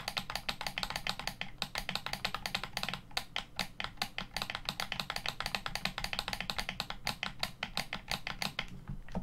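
Fingertips tap the hollow shell of a black plastic Xbox One controller and press its buttons and bumpers. The result is a rapid, steady stream of dry, bright plastic clicks and taps, each dying away almost instantly, with a soft low thump beneath.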